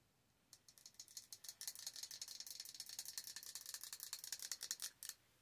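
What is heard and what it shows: Long orange nails tap rapidly and unevenly on the glass of a large jar candle filled with solid wax, held in the hand. The result is a quiet, steady patter of bright, clicky ticks with almost no ring, lasting about four and a half seconds before stopping.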